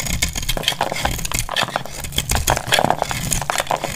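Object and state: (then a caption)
Dry soap bar scraped with a blade. A metal utility blade cuts and scrapes a solid, hand-sized, dry dark purple Lux soap bar. Dense, crackly scraping and sharp clicks repeat over a low rumble, with bright crisp edges as flakes break off.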